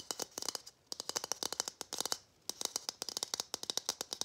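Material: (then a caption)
Plastic. A matte gold hollow plastic Christmas bauble, held in both hands, is tapped quickly with fingernails. It gives bright, dry clicks with almost no ring, about thirty taps in quick bursts with two brief pauses.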